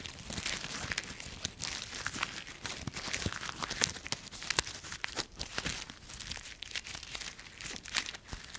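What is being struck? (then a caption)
Autumn leaves. Dry brown autumn leaves resting in an open palm are crushed in a fist and then rubbed between the fingers. The result is a dense, bright crunching and crumpling, with sharp crackles popping out of a steady rustle and very little low end.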